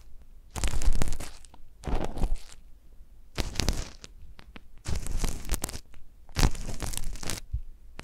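A gloved hand pokes and scratches a long, thin metal needle on a wooden handle inside the canal of a life-size hollow silicone ear model with a microphone capsule in it. Five bursts of close, crunchy, crackling scraping come through heavy and rumbling low with bright rasp on top, separated by near-silent pauses.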